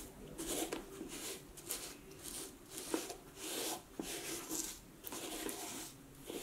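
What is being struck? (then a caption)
Snakeskin leather cowboy boot. A knit cloth is rubbed over the scaly toe and vamp of an empty snakeskin leather cowboy boot resting on a wooden table, its shaft held by a fingertip. Soft, bright swishing strokes come in waves, with a few faint sharp ticks between them.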